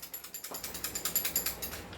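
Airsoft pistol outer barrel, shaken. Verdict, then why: Loose. A non-upgraded airsoft pistol is shaken, and its loose outer barrel gives a strong, bright ratcheting rattle of quick, even clicks. The rattle is a fault caused by the barrel not being upgraded.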